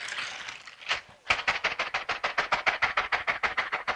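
A pair of long silicone dishwashing gloves with bristle-covered palms, worn on both hands, is rubbed and pressed together palm to palm and finger to finger. A smeared, continuous bristly scratching opens the clip, then a brief pause. It then settles into a fast, even rhythm of short, bright scratchy rubs centered around 2 kHz.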